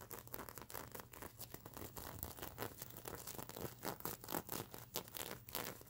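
Fingers and long nails scratch and brush the plastic sequins on a stuffed unicorn pillow. The result is a steady stream of quick, dry, crinkly scratching strokes with a bright rasp, rising and falling in loudness as the nails sweep back and forth.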